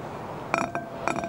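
A shallow, empty, clear green-tinted glass dish on a wooden table is tapped and scratched across its inside bottom by fingertips and short nails. Two clusters of bright, chinking clicks stand out over a faint hiss, and each cluster leaves a short, steady ringing tone that fades quickly.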